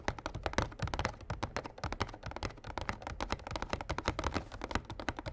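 Short fingernails and fingertips of both hands rapidly tap a small, printed, glossy cardboard Yu-Gi-Oh structure deck box, hollow and filled with cards, standing upright on a playmat. The result is a dense, continuous patter of quick, dry taps with a soft, hollow low thump beneath the clicks, each tap dying away almost instantly.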